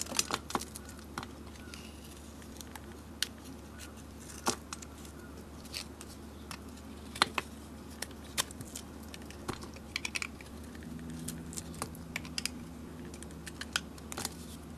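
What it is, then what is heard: Soap bar being carved. A metal utility blade scrapes and carves curls off a solid rectangular yellow soap bar with a glittery painted Virgo face, held in the hand. Sharp, bright, crisp scraping snaps and crackles come in quick irregular bursts over a steady low hum. A faint low tone joins the hum toward the end.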